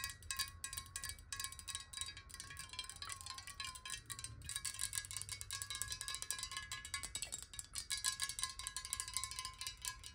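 Fingernails tap rapidly on a glass water bottle holding water, producing a dense stream of bright, chime-like clicks. Each tap is short, and a steady ringing tone around 1 kHz sustains beneath them, with a faint low rumble underneath.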